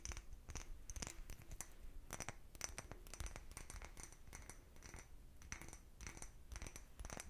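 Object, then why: Small cut-glass bottle. A small, empty, clear cut-glass bottle is held in one hand and tapped with the fingertips and nails of the other. The result is a quick, irregular run of light clicks, each with a brief, high glassy ping that dies away almost at once, over a soft low handling rumble.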